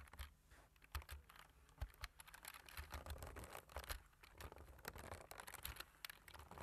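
Fingertips with medium-length nails type on the keys of a black plastic computer keyboard. A quick, uneven run of short, bright clicks and taps, each dying away almost instantly, sits over a faint low rumble.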